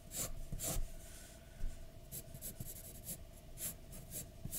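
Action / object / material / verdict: scrape / graphite pencil on a paper sheet / paper / none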